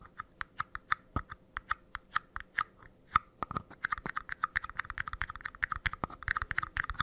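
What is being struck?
Paper cup.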